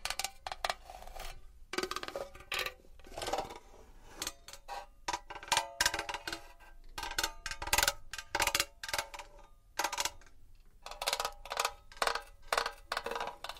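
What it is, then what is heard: Metal box. A small metal box is tapped and scratched with long nails. Quick, bright metallic taps ring briefly like a small cowbell, in clustered bursts between softer stretches of scratching. Many taps follow in irregular runs, with no low rumble underneath.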